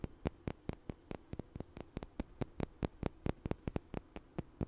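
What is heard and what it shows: Two small, solid, light wooden blocks, one held in each hand, are knocked together in front of the mic. About 24 sharp, bright, dry clicks arrive in an irregular rhythm, each dying almost instantly. A faint low hum runs underneath.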